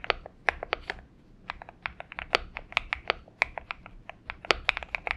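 Steady fingertip typing on a purple Xinmeng M71 mechanical keyboard with PBT keycaps and lubed switches produces about 24 short, crisp keystrokes in an uneven rhythm. Each clack is bright and snaps off almost instantly, with a tonal center around 1.3 kHz, very little low end, and a quiet hiss between strokes.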